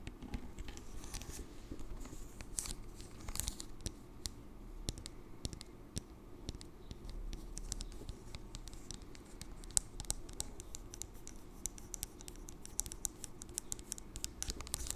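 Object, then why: Glass bottle of oil with pump top. A medium glass cleansing oil bottle with a pump top, mostly full of amber oil, is held in both hands while long acrylic nails tap and scratch across the glass and its label. The result is a steady run of quick, bright, dry clicks and scratchy strokes that die away almost instantly, over a soft low rumble.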